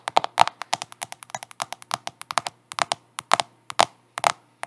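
Long acrylic nails rapidly tap and scratch the glass screen and plastic case of a black handheld smartphone held upright in both hands. About thirty quick, sharp clicks come in an uneven rhythm, each dry and ending almost instantly with no ring, with a midrange tone near 880 Hz and bright edges.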